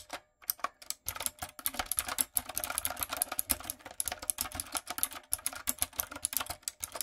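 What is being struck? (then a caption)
Mechanical keyboard with round plastic keycaps. A typewriter-style backlit mechanical keyboard with round brown plastic keycaps on a dark frame is typed on rapidly with fingertips and long coffin nails. The result is a fast, uneven stream of crisp, bright clicks and clacks that stop short, with quiet gaps between bursts.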